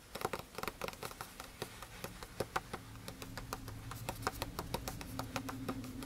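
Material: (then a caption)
Paper. Fingertips tap the surface of a handwritten lined page in an open spiral notebook, giving a rapid, uneven series of short, dry, papery taps with a bright edge. A faint low steady tone sits underneath, and the background grows slightly louder toward the end.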